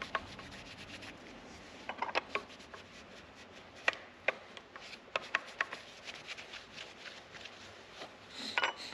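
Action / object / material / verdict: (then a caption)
scrape / lacquered wooden guitar body / lacquered wood / none. A hand wipes and rubs the lacquered wooden surface of a solid black, gloss-finished electric guitar body lying flat, using a yellow polishing cloth. A quiet, bright, hissy rubbing runs throughout with almost no low end, broken by a scattered series of sharp, dry ticks that stop instantly. It ends in a slightly louder, brighter burst of rubbing.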